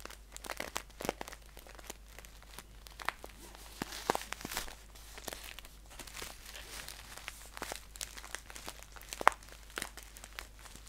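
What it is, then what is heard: Paper tea pouch. Fingertips scratch and crinkle a green paper tea pouch held upright. The result is a quiet, continuous stream of dry, crisp crackles and scratchy rustles, with short bright clicks scattered throughout and very little low end.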